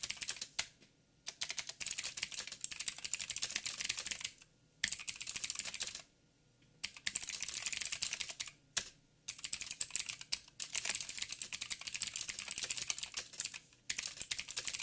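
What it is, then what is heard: Mechanical keyboard with plastic keycaps. Fingertips of both hands type in quick taps on a backlit mechanical keyboard with black plastic keycaps on a silver frame and a hollow housing. Dense bursts of bright, sharp clicks and clacks run in several stretches, separated by brief pauses where the keys fall silent.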